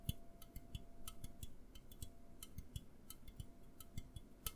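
An A&W aluminum soda can, held close to the microphone, is tapped and scratched with fingernails in about twenty quick, irregular ticks over a low rumbling background. Each tap is a dry, sharp click with a brief thump, and the short ringing stops almost at once.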